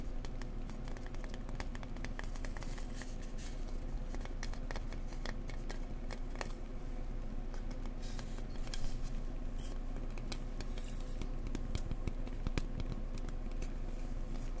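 Fingers gently tap an insulation board up close, with some scratchy tapping mixed in. The taps are soft, dull and irregular, sounding over a steady low hum.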